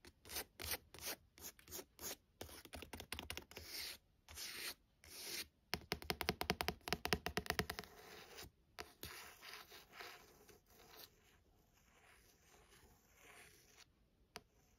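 Long nails scratch and trace along the text and barcode on the card-stock back cover of a paperback novel. Quick, bright, papery strokes come in short bursts, then a fast, louder run of rapid scratching in the middle. It eases into softer, quieter tracing toward the end.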